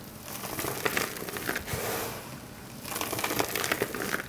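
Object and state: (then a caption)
Dry soap crumbles being crushed. Both hands scoop and squeeze handfuls of a loose pile of small, dry bar-soap shavings and chunks in green, yellow, white and blue on a marble-look surface, crushing and crumbling them with fingertips and palms. Dense, crisp crunching and crackling with bright, gritty detail comes in two busy stretches around a softer, calmer crumbling in the middle.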